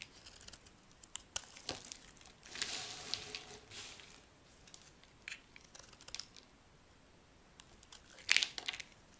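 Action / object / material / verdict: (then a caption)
scrape / bar of soap / soap / none. A small knife carves and scrapes curled shavings off a hand-sized, solid light-blue bar of dry soap held in one palm. Quiet, dry, crinkly scraping ticks sit almost entirely in the high, bright range, with a longer rasping scrape early on and a sharper, brighter burst near the end.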